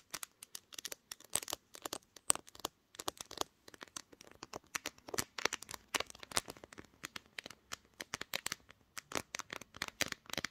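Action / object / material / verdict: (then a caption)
tap / glass-backed smartphone / glass / none. Long green nails rapidly tap and scratch the top edge and glass back of a pink glass-backed smartphone, held in both hands, seen in a mirror, and doing the recording. Quiet, dry, bright clicks and crinkly scrapes come in quick bursts with brief pauses, carrying almost no low end and stopping dead with no ring.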